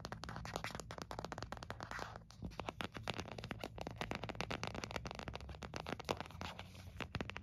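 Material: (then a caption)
Plastic. An empty white hard plastic phone case is held in the hand while fingertips and nails tap and scratch its back. The result is a quiet, rapid stream of short, dry clicks and scratchy scrapes over a faint low hum.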